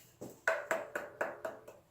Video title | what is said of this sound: Testing various blunt objects! | you also got the blunt force trauma of solid hardwood. Listen to this. Hurts my knuckles just tapping it. This by no means is a dead piece of wood.